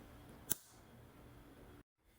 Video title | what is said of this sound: How to make hard boiled eggs that peel easily | gently tap it until you hear that clicking noise and then you know you've broken the shell but you have not broken through the membrane